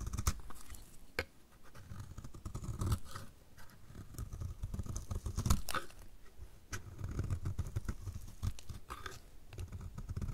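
A snap-off utility knife blade scrapes a solid, dry, orange-striped soap bar, shaving it so the shavings fall away. The sound is a steady run of dry, crunchy scraping with a low, muffled body, broken by sharp clicks and brief bright crackles as the blade bites and the shavings break off.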